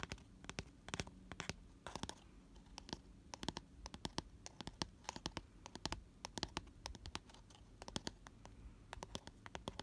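Fingernails scratch the inner bottom of an open, empty, round cardboard box lined with white paper and lying on its side. The result is a rapid, dense run of dry, bright scratching clicks that stop short with no ring, over a faint steady low hum.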